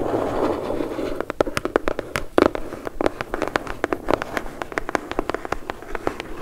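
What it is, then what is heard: Cardboard box tapped with fingernails. A closed, medium brown corrugated cardboard shipping box is held upright in both hands while long acrylic nails scratch and tap its underside and bottom edge. About a second of dry, continuous scratching gives way to a rapid, uneven run of sharp, hollow taps with a papery mid-range thump. Each tap dies almost instantly.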